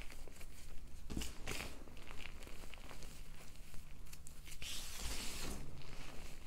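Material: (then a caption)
Chalk powder. Fingertips and long nails press, squeeze and rub into a large, soft heap of loose white Ader and BSN gym chalk (magnesium carbonate) powder crushed from five blocks. This makes soft, crinkly crunching and rustling with brighter bursts of crumbling over a steady low hum, as the clumps break apart in the powder mound.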